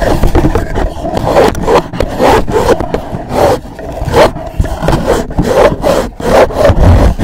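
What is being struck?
Rigid cardboard gift box.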